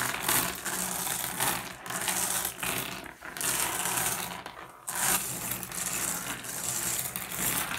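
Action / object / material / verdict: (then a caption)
scrape / pile of small flat glass gems / glass / none. Fingertips rake and shuffle a pile of small, solid, blue iridescent flat glass gems on a wooden surface. A steady, bright clatter of clicks and clinks rolls on throughout, with a few brief dips as the gems settle. It is mostly high and crisp, with very little low end.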